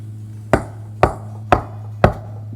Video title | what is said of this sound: Leather at the Mission | it's not really flexible either, it's pretty rigid